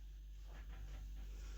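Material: Nothing is struck.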